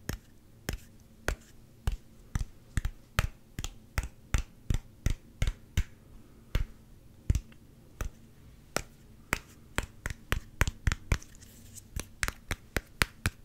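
Fingernails tap fast on the orange G-logo cap and body of a small, clear, hollow plastic Gatorade squeeze bottle. Each tap is a short, dry click with a dull, low body. The taps start evenly spaced, slow down through the middle, then speed up again toward the end.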